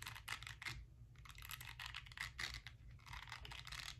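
A small round pink silicone face-cleansing brush with nubby bristles is scratched across its bristle surface with long nails, then moved toward the edge at the end. Quiet, bright bursts of crisp scratching and rubbing rise and fall in repeated strokes over a low, steady rumble.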